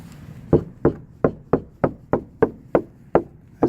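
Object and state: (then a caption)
Sound-deadened car trunk panel, damped. Ten short, dull knocks land on a car trunk's sheet metal that has been covered with sound-deadening material. Each knock is a low-mid thud that dies away almost at once, with no metallic ring, showing the panel is well damped.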